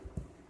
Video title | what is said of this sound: All the best wishes | to make sure that there's no hollow spots to make sure it's nice and tight and not separating from the aluminium